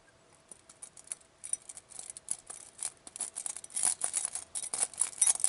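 A clear glass bowl filled with small glass vials of glitter, beads and sequins is held by fingertips with long painted nails and shaken. It gives a rapid, irregular stream of bright, high clinks and rattles with short rings, growing louder and denser in the second half.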